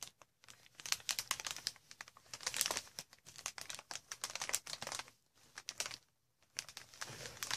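Long red nails scratch and grip a green inflated plastic air cushion wrap, a packaging sheet with air cells. The result is dense, bright plastic crinkling in rapid, sharp bursts, with short quiet gaps near the middle and toward the end.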